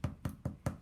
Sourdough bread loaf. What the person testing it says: tap to hear it's kind of a hollow sound that says we're done